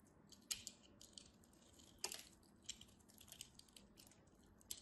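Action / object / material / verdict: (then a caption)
scrape / bar of soap carved with a metal knife / soap / none. A palm-sized solid pale yellow bar of soap is held in the hands and carved with a metal craft knife, peeling off thin slices and flakes. The cuts make quiet, crisp, high-pitched crackling and scraping with sharp clicks at irregular intervals over a faint hiss.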